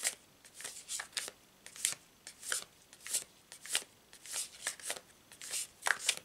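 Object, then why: Glossy cardstock card deck. A hand-sized deck of glossy printed cardstock tarot cards, with dark starry backs bearing a triple-moon symbol, is split into two stacks and overhand-shuffled by both hands above a cloth-covered table. About 21 short, bright, papery swishes and flicks are heard as the cards slide and snap against each other. The sound is quiet and crisp, with almost no low end, and each burst stops quickly between brief pauses.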